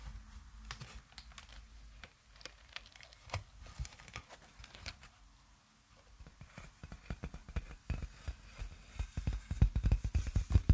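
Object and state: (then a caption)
Plastic air column packaging. A large clear plastic air-column cushioning sheet with hollow, air-filled inflated tubes is held close to the microphone and tapped and scratched with long nails and fingertips. It makes rapid, irregular clicky taps and crinkly scratches, with a brief quieter lull in the middle. The sound then builds into denser, louder tapping with deep thumpy bumps toward the end.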